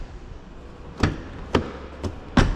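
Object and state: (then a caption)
Original car body panel, no repaint. Four dull, solid taps on the steel exterior body panels of a used BMW, checking for panel-beating and repaint work. Each knock is a short, low thud that dies away quickly. The panels sound normal, original and unrepainted.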